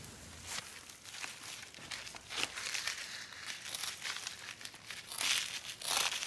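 A large, thin, flexible coconut fiber (coco coir) basket liner for a planter, with a fibrous brown outside and a pink-tan backing, is held, bent and rubbed by gloved hands. It gives a dry, fibrous crinkling made of irregular scratchy bursts, bright and airy with almost no low end, growing louder toward the end.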